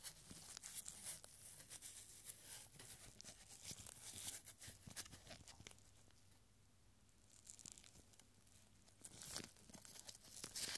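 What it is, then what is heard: Paper scroll being unrolled and rolled. A small scroll of yellowed paper reading "One moment at a..." is unrolled and held taut by purple nitrile-gloved fingers, then rolled into a small tube. Quiet, bright crinkling and crisp tearing-like rustles come in dense bursts, easing to a near-silent lull midway before picking up again, over a faint steady low hum.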